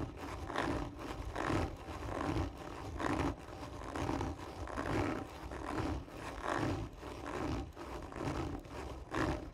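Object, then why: Cardboard tube. Long nails slowly scratch the textured surface of a hollow cardboard tube lying on its side, making hard, rasping strokes at a steady rhythm of about one per second. Each stroke swells and fades with a dull, hollow resonance around 340 Hz over a low rumble, with very little high-end brightness.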